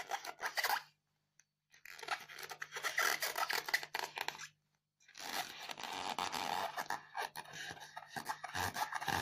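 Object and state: Styrofoam block scratched with fingernails.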